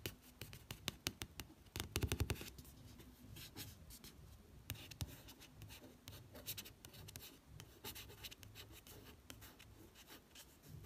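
A fingertip drags and scratches across a matte card cover, giving dry broadband rasps with a few sharper ticks near the start. Nothing rings; each sound dies at once, damped by the solid paper block beneath. A faint low room hum sits underneath.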